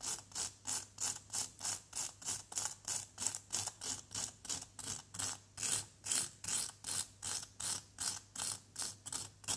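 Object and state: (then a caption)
Plaster block being scraped. A flat white plastic scraper is drawn repeatedly across the surface of a solid yellow plaster dig-kit block held by hand. About 33 short, bright, gritty scrapes come in a steady rhythm of roughly three per second, each a brief hiss of high rasping noise with almost no low end and no ring after it.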